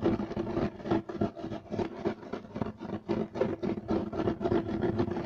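Both hands scratch fast at a flat, solid, beige striped woven loop-pile carpet with short nails and fingertips. The result is a dense, rapid, uneven run of dry rasping strokes that bunch into quick bursts, with a faint steady tone around 330 Hz running underneath.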